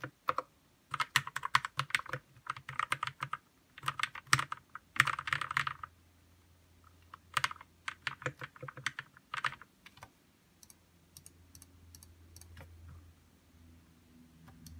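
Fingertips of both hands type on a white Royal Kludge RK61 60% mechanical keyboard with plastic keycaps, RGB backlight, lubed red linear switches and a hollow plastic case. Quick bursts of short, crisp clacks run in clusters separated by brief pauses, with a bright tone and almost no ring. After about ten seconds the typing thins to sparse, quieter taps over a faint low hum.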